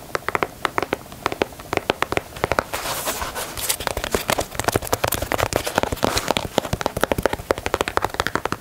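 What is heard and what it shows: Fingernails tap and scratch the perforated toe box and side panel of a black and white leather Nike Dunk sneaker. Rapid, crisp, dry clicks with almost no ring are broken up around the middle by a denser, hissy scratching stretch. The tapping then resumes in quick, uneven bursts.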